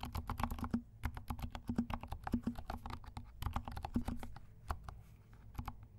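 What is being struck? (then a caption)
Plastic mechanical keyboard keycaps. Fingertips of both hands type quickly on a compact 68-key mechanical keyboard with dark plastic keycaps and silent switches. A rapid, uneven stream of soft, muffled keystrokes with short, dull thuds that die away almost instantly, plus a faint low tone and a light bright tick on some presses.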